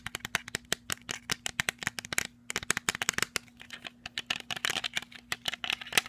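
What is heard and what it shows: Fingernails tap quickly on a pair of black plastic sunglasses with dark lenses, held close, striking the frame, the arms and the lenses. The result is a fast, uneven run of short, dry, bright clicks and ticks that die away almost instantly, over a faint steady low hum.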